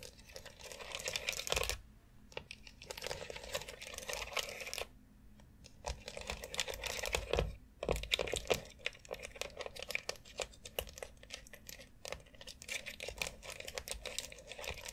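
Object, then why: Molded plastic foot massage board with nubs. A long white hollow molded plastic foot massage board, covered in rounded plastic nubs around a central dome, is tapped and scratched across its nubs with long acrylic nails. Rapid, dense clicking and scraping with a bright, hollow plastic tone runs almost continuously, with brief pauses near 2, 5 and 7.8 seconds.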